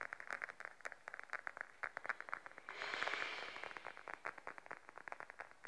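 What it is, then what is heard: Patent faux leather wallet. Fingertips and then long nails rapidly tap a beige, glossy patent faux leather wallet lying flat, producing dozens of quick, crisp taps with a bright, papery click and little low end. Partway through, the taps give way to a brief swell of smooth, brighter scraping noise before the rapid tapping resumes.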